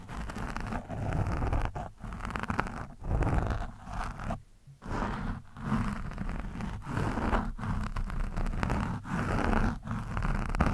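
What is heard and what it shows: The thin steel shaft of a screwdriver scratches and pokes an orange foam windscreen on a microphone, soft and porous. The sound is a close, muffled, rumbling scrape-and-rustle, heavy in the low end, coming in bursts separated by brief quiet gaps.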